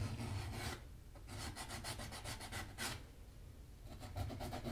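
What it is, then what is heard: Leather shoe sole edge being sanded. A small piece of sandpaper is rubbed by hand along the edge of the solid leather sole of a black Magnanni double monk-strap leather dress shoe, held upright with a shoe tree inside. Quick, uneven back-and-forth strokes make bright, dry rasping scratches in bursts over a steady low rumble.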